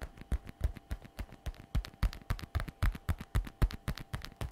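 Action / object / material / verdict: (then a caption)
tap / patent faux leather shoulder bag / patent leather / none. Long red nails tap quickly on the shiny flap of a glossy black patent faux leather messenger shoulder bag lying flat. The result is a fast, slightly uneven patter of many short, dull, low taps that die away almost instantly, over a faint steady tone.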